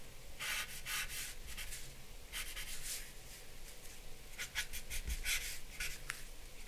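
A paper blending stump or charcoal pencil is rubbed and stroked over the face area of a drawing on a flat sheet of drawing paper. The repeated strokes make soft, dry, bright scratching and brushing sounds over a faint low hum.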